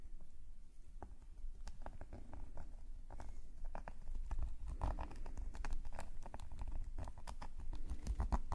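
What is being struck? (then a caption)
Metal pen nib on a paper sketchbook page. A metal calligraphy nib scratches rapid, short strokes across a black paper sketchbook page. The result is a dense run of quick, dry scratchy ticks over a steady low rumble, growing busier and slightly louder toward the end.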